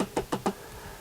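Three knocks on the thin plastic lid of a Massimo CX50 portable fridge give short, hollow, empty-sounding thuds centered low around 200 Hz that die away almost at once. The lid sounds hollow, unlike the thicker, more solid-sounding Dometic lid.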